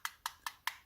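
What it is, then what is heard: Plastic knife handle. Five light, evenly spaced taps on the plastic handle of a Benchmade Shootout OTF knife, which also has a plastic button. Each tap is a sharp, dry click with no low end and almost no ring. The result is a thin, plasticky sound, not the feel of a G10 or aluminum handle.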